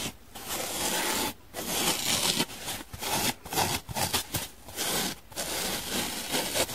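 Long nails and fingertips scratch the white top of a dry, hand-sized blue and white donut-shaped foam sponge with drawn sprinkles. The result is a bright, hissy scraping in a run of rough strokes broken by brief pauses, with little low end.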